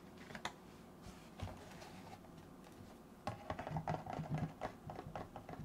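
Fingertips scratch and tap the face of a hollow, rectangular white cardboard box standing upright next to the microphone. A soft scratching bed is broken by a few isolated taps, then from about three seconds a busy, irregular run of quick taps with low, hollow thuds and short, dry decays.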